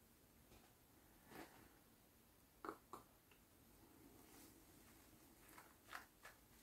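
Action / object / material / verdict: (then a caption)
scrape / whole coconut with fibrous husk / coconut husk / none. A whole, hand-sized hairy coconut with a hard shell is held in one hand while fingertips and nails scratch and pluck its coarse husk fibres. Six short, dry crackling plucks stand out over a faint, steady hiss. They are quiet and mid-pitched, with a little bright edge, and die away almost at once.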